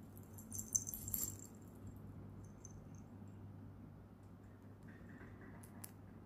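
A silver-tone metal chain bracelet with metal charms, a coin pendant, a gold-tone spinner and small red beads is held in both hands and jingled with fingertips and nails. Bright, high metallic clinks cluster in the first second and a half. They give way to a soft, steady low hum with faint scratching and a last light clink near the end.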